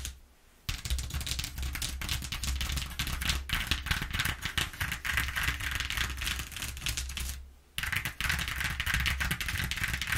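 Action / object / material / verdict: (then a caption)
tap / corrugated cardboard sheet / cardboard / none. Long nails on both hands tap and scratch fast and densely across the exposed ridges of a flat brown corrugated cardboard sheet resting on a wooden table. The result is a continuous, crisp rattling clatter with a low steady hum beneath it. The clatter stops briefly at the very start and again near the end.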